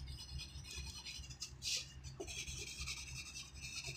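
A graphite pencil tip scratches across a thin white sheet of writing paper lying flat on a wooden desk while writing. A steady, bright scratching rub fills the high range, with brief louder strokes over a faint low hum.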